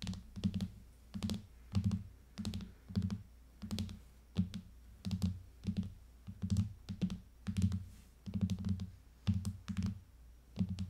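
Long painted fingernails on both hands rapidly tap the back of a rose-gold iPad in a clear hard plastic case lying flat on a table. The result is quick clusters of dull, low plastic knocks topped with sharp little clicks, each burst stopping dead with almost no ring. The rhythm sounds like irregular, rolling typing.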